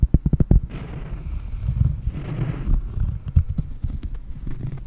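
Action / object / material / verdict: tap / cork board / cork / none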